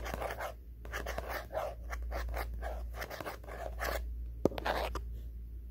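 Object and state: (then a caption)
Faux-leather covered journal. Fingertips and nails scratch and tap the cover of a solid, flat black faux-leather hardcover diary with gold print, held close. Soft, rhythmic scratching strokes repeat over a steady low hum. A few sharp, dry taps stand out near the end.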